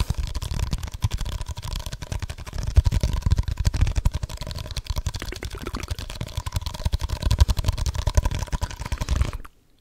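A small, hollow, textured red plastic cup, empty and held in both hands, is tapped fast with fingertips and nails close to the microphone. The result is a dense, continuous stream of short, dull, low thumps and light clicks with almost no ring, stopping abruptly near the end.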